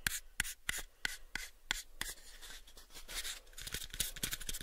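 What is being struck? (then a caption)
Light wooden box. A light, pale wooden box is held in both hands while fingernails scratch and rub its faces and edges. Seven sharp, bright nail clicks come first, then they give way to a continuous dry, hissy scratching with softer ticks.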